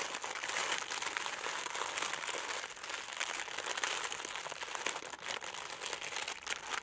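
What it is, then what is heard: Tissue paper being crinkled. A thin sheet of red tissue paper lying flat on a black table is folded and crinkled by fingertips with long nails, possibly around a small crystal wrapped inside. A dense, continuous, bright crackling rustle fills the clip with no low end, swelling and dipping slightly as the paper is worked.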